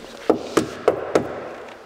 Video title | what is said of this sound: VOLLINTEGRIERTE WOHNMOBILE 2023: NOTIN Mercedes Calgary Evolution. Superleise Fenster elektrisch. | Das ist also ganz massiv.